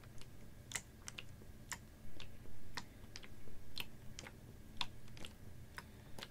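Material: Plastic.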